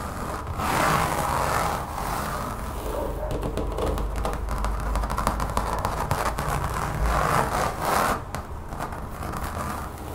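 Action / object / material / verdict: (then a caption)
scrape / textured rubber mat / rubber / none. Long painted fingernails tap and scratch across a large, brown, textured rubbery mat laid solid and flat over a table. The sound is a steady stream of fast, dull taps mixed with rough, scratchy rubbing, with brief surges of brighter scraping between steadier stretches.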